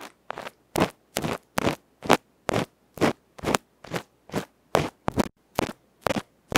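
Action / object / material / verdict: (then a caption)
scrape / aluminium microphone capsule scraped with a bamboo pick / aluminium / none. A small hollow aluminium electret microphone capsule with a black felt face, held in fingertips and without a cover, is scraped by a bamboo ear pick. About 17 rapid, rough scratching strokes come roughly twice per second in a steady but uneven rhythm, each a loud, broadband, crackly rasp that cuts off quickly into silence.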